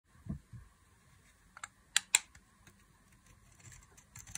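A solid, rectangular, beige speckled bar of dry soap is held in a hand with long glittery nails. It is carved and scraped with a box-cutter blade, and curls and shavings peel off. The result is a series of short, dry, bright scraping and cutting ticks with soft low thumps between them, and a cluster of sharper crisp scrapes at the end.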